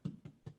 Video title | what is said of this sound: WELLDone Session 4 - Cook along with Rachel Allen of Ballymaloe Cookery School | They sound hollow when you tap them.